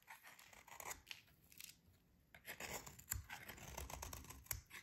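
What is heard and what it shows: A metal utility blade scrapes thin shavings from a solid, dry, green rectangular soap bar held in hands. The result is a series of soft, bright, crumbly scraping strokes with a quiet pause in the middle. Two sharper clicks stand out near the end.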